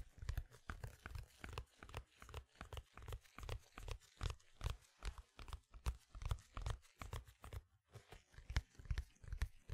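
A large, thin, flat, square pink printed cardboard vinyl album sleeve is held upright close to the mic while black-gloved fingertips scratch and rub its surface. The result is a steady, uneven run of short, dry, crunchy scratching strokes with heavy low thumps and a little bright rasp, each dying away almost instantly.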